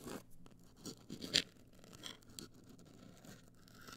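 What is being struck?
Rigid cardboard box.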